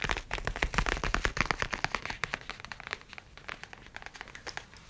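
A grey-brown leather tablet folio case is held close and tapped with the fingertips and nails, making a quick, irregular run of short, dry clicks and soft taps. The taps are brighter and louder at first, then turn softer and duller toward the end.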